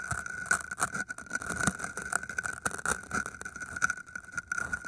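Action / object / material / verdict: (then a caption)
scrape / green floral foam block scratched with a metal pin / floral foam / none. A thin metal wire or pin held in the fingers pokes and scratches into the surface of solid green floral foam cylinders. The result is a dense run of crisp, crackling scrapes and small pokes, with a steady squeaky tone near 1.5 kHz running through the whole clip.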